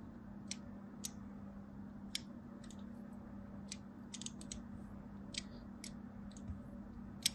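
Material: Soap.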